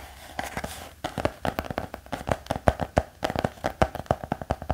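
Fingertips tap on the cover and edge of a black hardcover notebook with a thick block of pages. A quick, irregular run of short, dry taps gives soft, muffled thuds with a faint mid-range knock. There is almost no ring after each touch.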